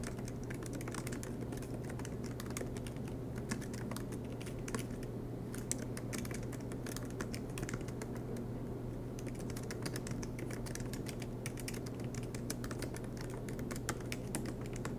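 Fingertips of both hands tap the black plastic low-profile keys of a silver MacBook Pro with an aluminum chassis in fast, continuous typing. Dense, soft clicks with bright edges run steadily over a constant low hum.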